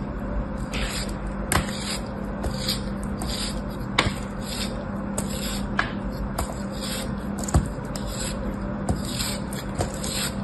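A metal blade scrapes and slices facets off a solid, palm-sized beige kinetic sand cube, and the sand crumbles away. Repeated soft, bright scraping strokes are heard, punctuated by occasional sharp cutting clicks, over a steady low hum.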